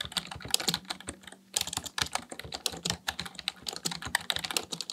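Fingertips type rapidly on a black plastic full-size computer keyboard resting on a desk. A dense run of short, sharp, bright key clicks is heard, with a brief pause near the middle and a faint low hum underneath.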